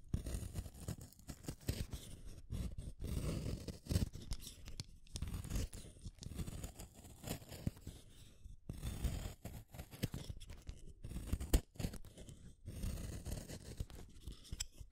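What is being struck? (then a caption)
Wooden colored pencil in a hand sharpener. A yellow wooden colored pencil, a small solid stick, is turned in a yellow plastic hand sharpener so the metal blade shaves it, one pencil at a time. The cut is a dense, rough scraping with low grinding weight and brief bright ticks, broken by short pauses between bursts. It peels off long curled shavings.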